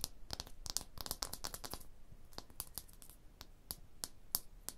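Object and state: Stone block wall tapped with nails.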